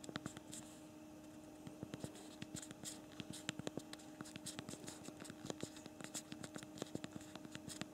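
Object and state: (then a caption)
Plastic phone keyboard being typed on. Rapid, irregular clicks from both thumbs typing on the backlit physical plastic keyboard of a BlackBerry Priv smartphone. The sharp, short key presses come in quick bursts over a steady low hum.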